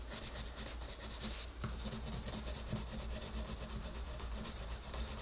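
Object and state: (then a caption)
Paper page being colored with a pencil. A wooden colored pencil colors a flat paper coloring book page, its tip scratching and rubbing the paper in short strokes. The result is a continuous bright, raspy scratching over a steady low hum, with a brief dip just before the midpoint.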